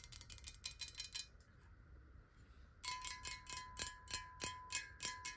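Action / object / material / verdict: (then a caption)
tap / glass bottle partly filled with water / glass / none. Long nails tap quickly on a clear square glass bottle partly filled with water as it is tilted and then set upright. The first burst of bright, clicky taps gives way to a brief quiet pause. Then come steadier, evenly spaced taps with a sustained glassy ring near 1 kHz and a sharp, high sheen.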